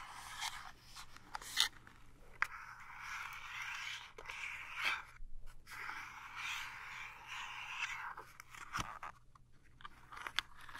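Long nails scratch and scrape across the flat sides and end of a small printed cardboard toothpaste box. The result is a steady, dry, papery rasp with bright hiss, broken by a few sharp ticks and short pauses.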